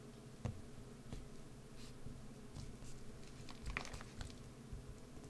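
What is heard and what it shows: A solid green bar of soap held in the hand is scraped and carved with a wood-handled carving gouge, its shavings falling away. Quiet, soft scratching strokes sound over a low rumble, broken by a few sharper, brighter crackling scrapes that die away almost instantly.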